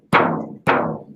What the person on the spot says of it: you can hear all that ring out of that single ply head even with the coating